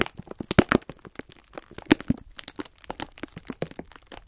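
Fingertips press, squeeze and rub the thin clear plastic wrapper around a full pack of sponge scourers. The film gives off a rapid, irregular run of sharp crackles and crinkles, with the loudest snaps near the start and again around two seconds in, each dying away almost instantly.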